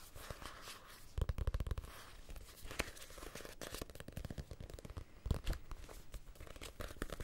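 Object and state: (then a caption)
Paperback book. Fingernails scratch and tap along the spine and page edges of a small, solid paperback copy of Casino Royale. The result is a quiet, dense run of short, dry taps and papery scratches with soft low thumps and no ringing.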